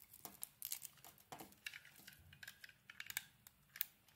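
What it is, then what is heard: Bar of soap being carved. A utility knife blade carves and scrapes flakes off the surface of a solid oval blue bar of soap held in the hand. The sound is quiet, made of many short, bright, crisp scraping and crackling strokes that stop dead with no ring.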